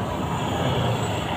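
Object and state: Nothing is struck.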